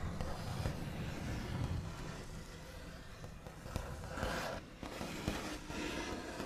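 The backs of fingernails rub, trace and scratch across a large solid wooden tabletop with a smooth white finish. The scratchy friction runs continuously and is heavy in low rumble, broken by two sharp taps.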